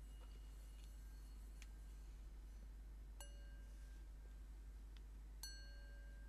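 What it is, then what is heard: Metal singing bowl. A medium, hollow, empty metal Tibetan singing bowl with painted decoration, held on one palm, is tapped with the fingertips and nails of the other hand. Soft, quiet taps each set off a bright, high ringing tone with layered overtones that sustain briefly. A steady low hum sits underneath throughout.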